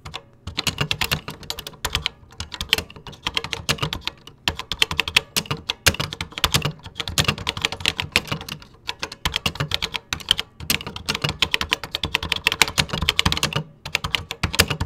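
Fingertips type continuously on a vintage 1980s plastic computer keyboard, producing dense runs of bright, sharp key clicks with short, dry decays. A few brief pauses break up the bursts of keystrokes.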